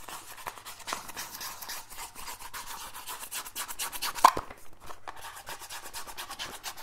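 Fingers rub and scratch a small, hollow, black printed cardboard E-liquid box. The result is a steady, dry, papery rasping made of quick, grainy strokes with a bright hiss. One sharper, louder scrape-click lands just past the four-second mark before the rubbing continues at a low level.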